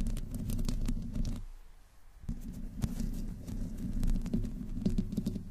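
Long nails scratch slowly over the metal mesh grille of a black microphone with no windscreen, mostly with one hand. The result is a deep, muffled rumbling scrape with scattered crackly clicks, easing into a quieter lull near the two-second mark before picking back up.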